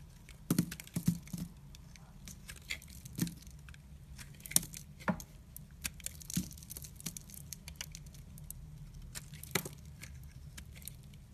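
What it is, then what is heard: White bar soap being shaved. A utility knife blade shaves and scrapes thick curls off the surface of a solid white rectangular bar of soap held in the hand. Quiet, dry crackling scrapes and sharp, bright clicks come in irregular bursts over a steady low background hum, with the loudest cuts snapping out briefly and dying away at once.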